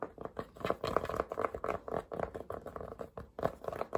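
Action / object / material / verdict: scrape / cotton cap brim / cotton / none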